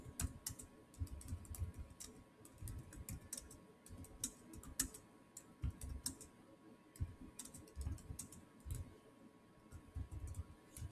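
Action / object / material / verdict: tap / plastic laptop keyboard / plastic / none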